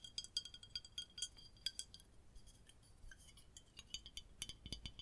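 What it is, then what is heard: Aluminium soda bottle. Long nails tap along the body and bottom of a red printed aluminium Coca-Cola bottle with a cap, held in the hands. The result is a quiet, irregular run of bright, clinking metallic taps, each dying away almost instantly with a faint high ring, and a few duller, fuller knocks near the end.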